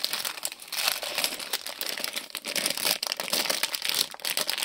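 Fingertips bend, crinkle and press a small printed plastic-film Lego polybag with bricks inside against a table. The result is a continuous, dense crinkling of bright, crisp crackles with almost no low end, rising and falling in small bursts throughout.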